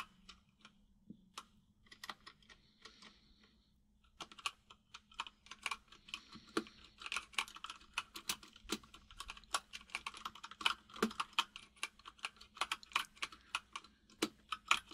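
Fingertips of both hands type on a full-size mechanical keyboard with white and grey plastic keycaps and a hollow case. Sparse, bright, clacky key taps come first, then a quiet gap, and from about four seconds a faster, denser run of sharp clicks. Each tap dies away almost instantly over a faint, steady low hum.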